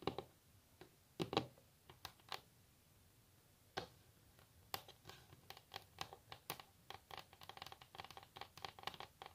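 Long natural nails scratch and tap on a solid wooden table surface. Short, dry clicks and scrapes come sparsely at first, then in a quicker, denser patter through the second half, each bright tick dying away almost at once against a quiet background.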